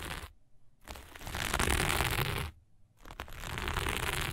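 Long nails on one hand scratch fast and hard across dark sequin fabric lying flat. The result is a dense, crackly rustle with a low rumble underneath, in two loud stretches separated by brief near-silent pauses.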